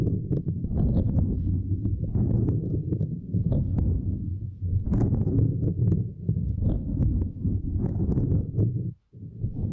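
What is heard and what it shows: Two index fingers with long nails tap and scratch across a small, flat purple silicone grid mat resting across a microphone. The result is a dense, continuous stream of muffled, low thumping and rubbing, with brief bright nail clicks poking through. The sound drops out for a moment near the end before resuming.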